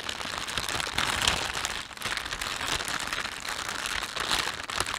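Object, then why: Thin plastic shopping bag. Hands stretch and rub the film of a thin, empty panda-print plastic shopping bag, producing a dense, continuous crinkling. The crackle is bright and hissy with almost no low end, and it swells around the one-second mark and again near four seconds, easing briefly just before two seconds.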